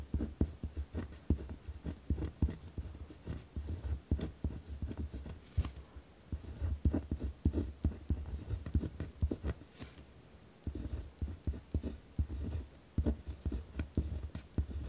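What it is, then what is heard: Pen writing on a paper sheet. A ballpoint pen scratches across a torn-out notebook page resting on a wooden desk with firm, rough writing strokes. Each stroke is a short, dry tap and scrape, and they come in an uneven run of quick bursts with brief pauses. The sound is mostly low and dull thudding, with little brightness.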